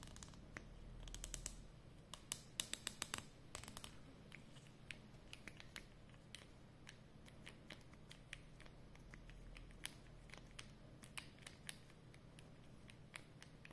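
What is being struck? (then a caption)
Plastic marker pen. Long nails tap and scratch the barrel and cap joint of a capped, hollow black plastic Edding 300 permanent marker held in both hands. The result is a quiet run of sharp, creaky clicks with bright ticks over a faint low hum, busiest in the first few seconds.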